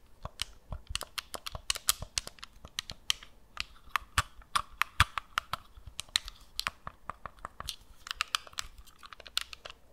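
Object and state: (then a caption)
Plastic game controller. A hand-sized, hollow black and red plastic gamepad is held in both hands while long nails tap and scratch its shell and press its buttons. The result is a quick run of sharp, dry clicks and taps with bright, crisp highs and scratchy rustling between them, each hit dying away almost at once.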